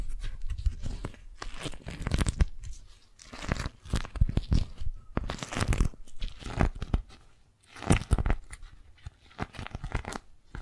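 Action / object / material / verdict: scrape / waxed cotton food wrap / waxed cotton / none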